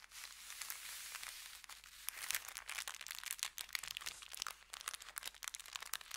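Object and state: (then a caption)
Paper bag being crinkled. An empty, layered and folded brown kraft paper bakery bag resting on felt is pinched, lifted and crinkled with the fingertips. A soft, steady rustle gives way to a dense run of sharp, bright crackles and snaps with almost no low end.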